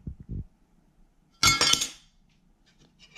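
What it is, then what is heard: Solid titanium metal card. A thick, solid, fully titanium Apple Card (Goldman Sachs Mastercard) is knocked or dropped onto a surface, giving a bright, ringing metallic clunk that breaks into a quick cluster of high clinks and fades within about half a second. Soft low thumps come just before it, and faint light clicks follow near the end.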